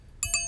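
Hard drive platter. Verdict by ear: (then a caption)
Real. A tempered-glass platter from a disassembled, dead hard drive is tapped twice. It gives two bright, high-pitched glassy chimes that ring on briefly, confirming it is glass.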